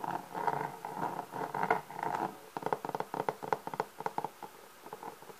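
A black pebble-textured, leather-textured hard-shell Selmer clarinet case with a blue badge, medium-sized and hollow, is held against the body while fingertips and painted nails scratch and tap on its lid. The first half has soft, continuous scratching with a hollow midrange tone. The second half turns to quick, irregular, dry taps that stop short with no ring.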